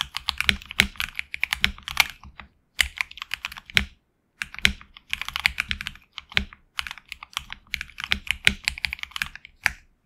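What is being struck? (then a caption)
Mechanical keyboard with plastic keycaps on a metal plate. Fingertips of both hands type on a HyperX Alloy Origins Core tenkeyless mechanical keyboard with HX Red switches, PBT plastic keycaps on an aluminum plate and a hollow case. About fifty short, bright clacks come in quick bursts separated by brief pauses, each dying away almost instantly.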